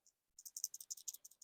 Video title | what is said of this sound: How To Save Lupine Flower Seeds | when you shake it you can hear it makes a rattling sound that tells you there's seeds in there